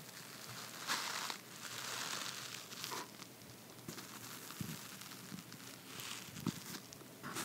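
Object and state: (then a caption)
Cardboard box tray. Fingertips and nails scratch and tap the inside of an open red cardboard box base with a white paper lining, held in one hand. Bursts of dry, bright crinkly scratching alternate with short, soft taps. The sound is quiet and papery, with little low end and no ring.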